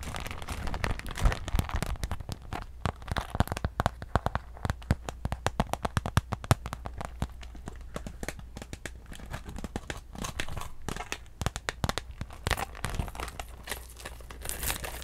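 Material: PVC plastic.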